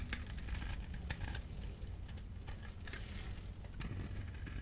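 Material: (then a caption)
Soap. A solid blue-and-white striped dry bar soap, held in the hand, is scraped and cut with a small metal blade tool. Short, dry, crisp scratches and crackles with bright edges sit over a low, steady rumble. The cuts run close together throughout.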